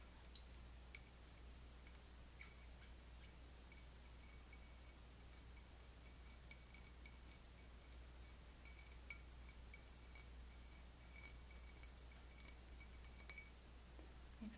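An empty, stemmed, patterned cut-crystal wine goblet is held in the hands and tapped with long fingernails, giving quiet chiming clinks that ring briefly near 2.3 kHz. The clinks sound over a steady low hum.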